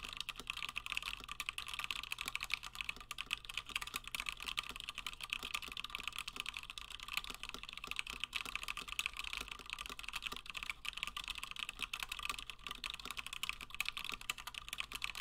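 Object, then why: Plastic mechanical keyboard keys. Fingertips of both hands type continuously on a Gingham 60% plateless mechanical keyboard with Gateron Black switches and cream and blue PBT plastic keycaps. The result is a dense, steady stream of short, bright clacks with almost no ring and little low end.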